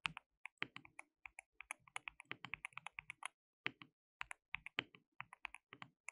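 Both hands type continuously with their fingertips on a compact, hollow-cased white mechanical keyboard with white and pink plastic keycaps and RGB backlighting. About 38 sharp, bright plastic clacks are heard, peaking around 2.6 kHz with very little low end. Each one stops almost instantly, and there is a brief pause midway before the typing resumes.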